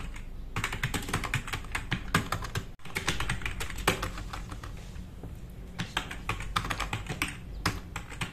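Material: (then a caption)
Plastic. Fast typing with the fingertips of both hands on a black RGB-backlit tenkeyless plastic mechanical keyboard with plastic keycaps, resting on a wooden desk. A rapid, dense stream of short, sharp clacks with bright key-tops runs over a steady low rumble, with a brief break near the three-second mark before the typing picks up again.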